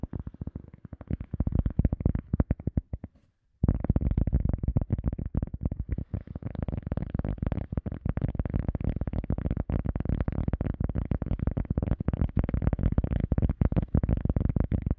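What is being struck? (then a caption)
EVA foam sponge disc. A round, solid, soft teal EVA foam sponge disc, held behind the mic, is tapped and scratched with fingertips. Rapid, dense, dry, muffled low thumps with faint scratchy texture continue throughout. There is a brief silent pause just after three seconds before the tapping resumes steadily.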